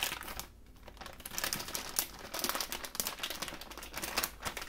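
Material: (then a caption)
Plastic. A thin clear plastic produce bag, partly full of mini peppers, is held in one hand above a cutting board and crinkled and shaken by the fingers. Bright, dense crinkling and crackling runs throughout, with many quick sharp snaps that die away almost instantly and little low-end weight.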